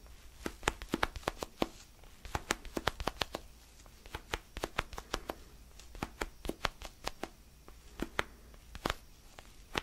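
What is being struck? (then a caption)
Small foam stress ball. A small orange foam basketball stress ball is cupped in the hands while fingernails scratch and tap its textured surface. The result is a quick, irregular series of sharp, dry clicks and scratches, bright and crisp with almost no ring, over a faint low hum.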